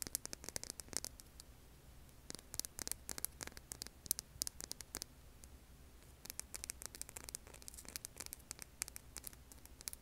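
Long nails scratch and tap the grainy surface of a hand-sized, solid, rough tan rock held in both hands over an earbud mic. Clusters of quick, dry, bright clicks and scratches come in bursts with short pauses between them, over a faint, steady low hum.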